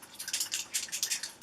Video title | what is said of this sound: Happy Canada Day! — Here's A Full Face of Canadian Branded Makeup & More | shake it you'll hear there there's a ball in there